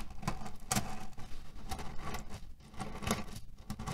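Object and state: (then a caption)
Cotton pillow filled with cherry pits. Fingertips scratch and palms press a cotton-canvas pillow filled with cherry stones. The loose pits shift and grind with a dense, rattling patter and brief bright clicking bursts over a steady low rumble.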